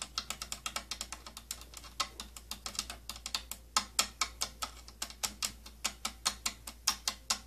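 Fingernails scratch and tap along the slotted rim of an old, hollow, purple plastic cylindrical tattoo kit case. About 42 quick, bright, dry clicks land in an uneven rhythm, each dying away almost at once. A faint steady low hum sits underneath.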